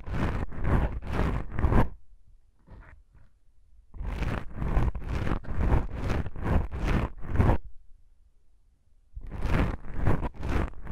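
Long pink nails on both hands scratch black foam microphone windscreens, the soft porous foam giving a rough, broadband scratching rustle with a heavy low rumble and bright hiss on top. The scratches come in quick rhythmic bursts in three groups, separated by two near-silent pauses.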